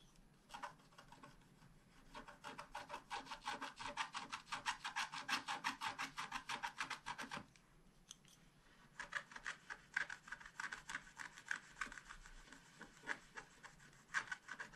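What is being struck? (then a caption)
Scratch art paper sheet scratched with a wooden stylus. A wooden stylus scratches rapidly in short strokes across a flat scratch art paper sheet. Quick, dry, bright rasping strokes run in a dense rhythm, briefly pausing before resuming in sharper, more scattered bursts.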